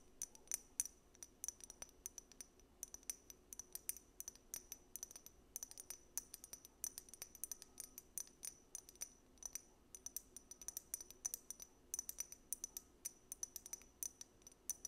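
Long nails tap and scratch a small, labeled amber glass dropper bottle that appears filled. The result is a quiet, steady stream of sharp, bright clicks with a high glassy ping, each dying away almost instantly, mixed with faint scratching between taps.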